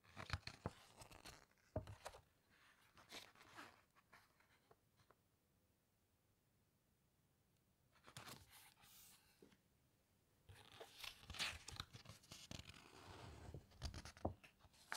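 Fingertips and long nails squeeze and rub a glossy page of a large hardcover book, and a page is turned by hand. Bright, crinkly rustles and crunchy squeezes come in bursts, separated by a long quiet stretch in the middle.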